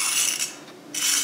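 A utensil scrapes across the golden crust of rested, shallow-fried chicken coated in chunky homemade breadcrumbs with parsley and rosemary and fried in extra virgin olive oil. Two bright, high rasping bursts of crunchy scratching are heard, separated by a quieter moment. The crust sounds very crispy.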